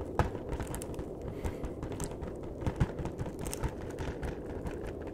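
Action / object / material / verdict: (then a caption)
tap / cardboard chocolate box / cardboard / none. A flat, hollow cardboard chocolate box is tapped with the fingertips on its top edge and face. A steady run of soft, dull, low-pitched taps dies away almost instantly, with a few slightly louder knocks standing out.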